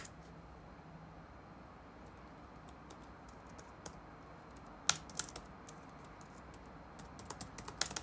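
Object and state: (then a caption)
Plastic laptop keyboard being typed on. Fingertips type on the black plastic keycaps of a dark laptop resting on a wooden desk. Sparse, soft key taps sit over a steady low hiss, then sharper, brighter clicks arrive near the middle and a quicker flurry at the end. Each tap is short and crisp and stops dead with no ring.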